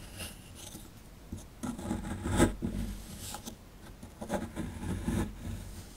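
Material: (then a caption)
Plaster. A plastic chisel tip scrapes the crumbly plaster at the lower right of a solid plaster fossil dig block held in the hand. Soft, dry scraping and rasping strokes come in irregular bursts, with a few louder gritty scrapes over a quiet, low-heavy background.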